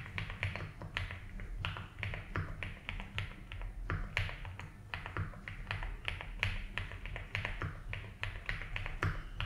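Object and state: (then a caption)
Plastic mechanical keyboard being typed on. Fingertips slowly type on a 75% mechanical keyboard with ABS keycaps in a light blue plastic case. Each keystroke is a short, bright plastic click with a quick decay, forming a steady, uneven run of taps over a constant low hum.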